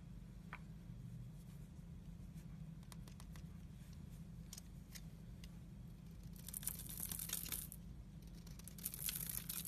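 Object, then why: Bar of soap. A utility-knife blade scrapes the dry surface of a solid oval bar of teal soap held by fingers with pink nails, shaving off powdery flakes. Quiet, scattered dry scratches over a steady low hum give way to denser, brighter crackling scrapes in the second half.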